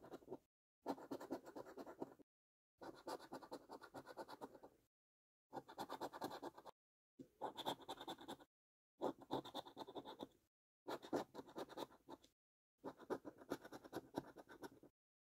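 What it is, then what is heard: Scratch card being scratched. The edge of a coin scratches the latex coating off a thin, flat cardboard £2 National Lottery "5x £100 Multiplier" scratch card lying on a dark surface, one card throughout. There are eight bursts of quick, rasping scrapes separated by short silences, each burst a dense run of strokes with a mid-range papery grit.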